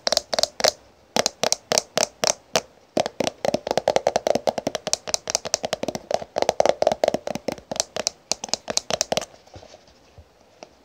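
Long painted nails and fingertips tap and scratch along a small black-and-gold "full cover" plastic cosmetic squeeze tube, held in the hand and apparently full. Many crisp, fast clicks come in quick bursts, with short bright ticks over a hollow tone around 630 Hz. The tapping stops near the end, leaving a few faint ticks.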